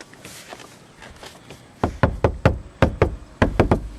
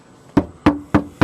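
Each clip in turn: First: deadened steel roof panel, dull solid knock. Second: bare steel roof panel ringing hollow without sound deadening.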